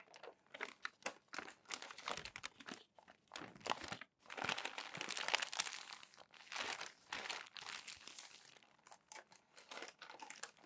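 Hands turn and press down the crinkled pages of a crumpled glossy paper magazine. Dense, bright crackling and crinkling comes in irregular bursts with brief quiet gaps, carrying almost no low end. Each crackle stops sharply with no ring.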